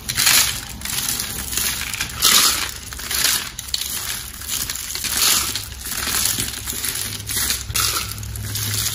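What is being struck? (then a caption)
Soap curls and shavings. A pile of thin, dry, hollow blue and green soap curls and crumbled shavings on a white surface is crushed and squeezed by fingertips and palm. The result is a steady, bright, crunchy crackling with little low end, swelling into louder bursts every few seconds as the curls break apart.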